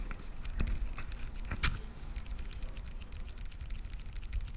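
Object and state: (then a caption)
Plastic pill organizer tapped with nails. A translucent blue plastic weekly pill organizer with SMTWTFS lids and hollow compartments is held in front of the mic and tapped rapidly on the lids with long nails. The result is a quick run of light, bright clicks over a steady low rumble, with a few sharper taps standing out.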